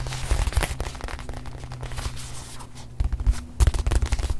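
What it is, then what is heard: Leather-covered watch pillow. Long manicured nails tap and scratch the surface of a small, soft, stuffed white leather-covered watch display pillow held in the hand. The result is a run of irregular, muffled low thuds mixed with faint crackly scratching, with a few louder taps near the end.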